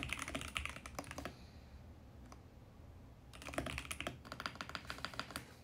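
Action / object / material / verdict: tap / plastic mechanical keyboard / plastic / none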